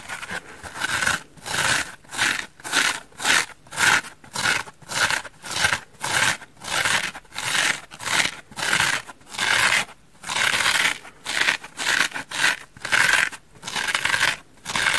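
Long nails and fingertips scratch the porous surface of a large, dry, orange, curved ellipse-shaped open-cell polyurethane foam bath sponge. The result is a steady series of dry, bright, rasping scratch bursts, each lasting about half a second. There are short quiet gaps between the bursts.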